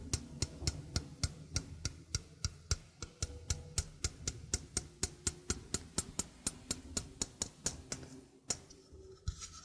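A small hollow stainless steel sink strainer is held in the hand while its rim is tapped with fingertips and nails. There are 34 quick, bright metallic ticks at a steady pace, each dying away almost at once over a low, steady background rumble.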